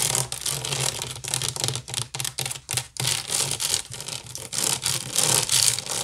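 Fingernails scratch quickly across the weave of a large, hollow woven wicker basket. The result is a dry, bright rasping made of rapid, uneven bursts, with a faint low hum underneath.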